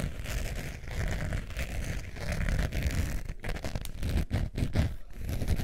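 Long nails scratch the textured surface of a long beige faux leather wallet with a metal zipper, held in both hands. The result is a steady, dense scratching with strong low-end rumble and faint brighter rasp. Brief pauses break it up in the second half.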